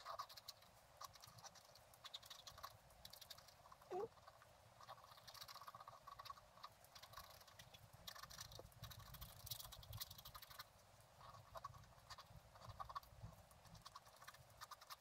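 A wooden stylus scratches tree shapes into a flat, black-coated scratch art card lying on a table. Quiet, dense scratching and scraping comes in short bursts with a bright, papery hiss. A faint low rumble runs underneath, and a few slightly louder taps stand out near the start.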